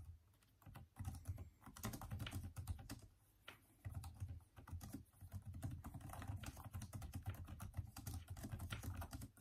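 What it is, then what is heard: Plastic laptop keyboard being typed on. Fast, continuous fingertip typing with both hands on a backlit plastic-key Microsoft Surface laptop/tablet keyboard. The result is a dense run of quick, soft, low, thumpy key clicks with very short decay and brief pauses between bursts.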